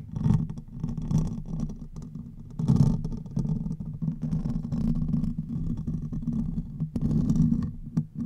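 Fingertips and nails of one hand scratch the top of the hollow metal mesh grille on a silver condenser microphone. The result is a dense, continuous low rumbling scrape, centered around a low hum near 150 Hz, with faint scratchy texture above. It swells and dips in loudness throughout.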